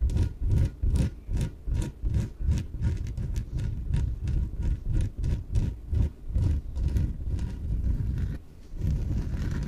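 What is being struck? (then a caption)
Inflatable PVC exercise ball. Long nails scratch the surface of a small yellow, hollow, air-filled inflated PVC exercise ball. A quick, uneven run of rasping strokes booms with a deep, hollow low-end thrum beneath faint bright scratchy streaks. After a brief dip near the end, it settles into a steadier rustling scrape.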